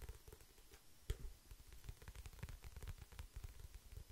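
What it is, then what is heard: Paperback book with card cover. Fingertips and nails tap and scratch the glossy printed card cover of a medium paperback book, held solid and closed in both hands close to the microphone. A steady run of soft, low thuds and dry scratches continues throughout, with one sharper, louder tap just after the first second.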